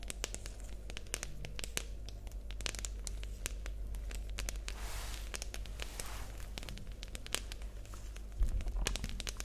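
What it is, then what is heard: Plastic pencil case. Long nails tap and scratch a hollow, light green rectangular plastic pencil case with a printed logo, held in both hands. Quick, sharp clicks and dry scratchy crackles run throughout over a steady low hum, with a louder flurry of taps near the end.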